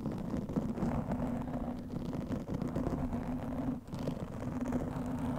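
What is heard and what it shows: Long nails scratch a black foam windscreen over a microphone, making a continuous, muffled rustling scrape with a low droning tone near 210 Hz and almost no high end. The dense scratching runs steadily throughout, dropping out briefly just before the four-second mark before resuming.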